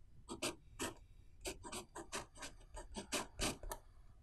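A blue ballpoint pen tip writes Chinese characters on the right-hand page of an open paper notebook lying flat on a wooden table, while the other hand holds the page. Short, separate, scratchy pen-on-paper strokes rasp brightly, with quiet gaps between them.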